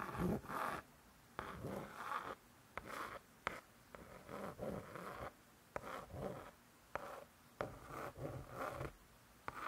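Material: Laminated board.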